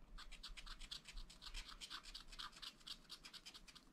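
A wooden stylus scratches short strokes into a black coated sheet of a scratch-art paper pad. The quick, dry strokes come about four per second in an uneven rhythm, each a bright, hissy scrape, over a faint low hum.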